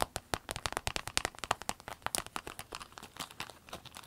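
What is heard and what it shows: A small, empty, clear orange vinyl zip pencil case is tapped and scratched with long nails and flexed by hand. The result is a rapid run of sharp, crinkly clicks and taps. The sounds are bright and dry, with many closely spaced hits that gradually soften.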